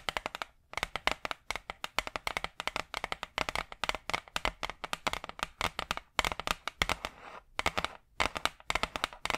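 A large, flat, brown hardboard clipboard, a solid thin board held in front of the mic, is tapped with long acrylic nails. Quick, dry, bright clicks come in rapid clusters with brief pauses, each tap dying away almost instantly with little low end.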